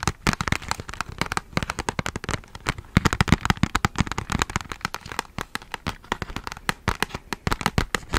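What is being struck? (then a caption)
Small printed cardboard box. A small, flat, rectangular red-and-white Ghana chocolate box made of printed cardboard is held in one hand close to the microphone while fingertips and nails tap and scratch its surface. Dense, rapid, dry taps and scratches follow one another with almost no ring, each a short crackly click.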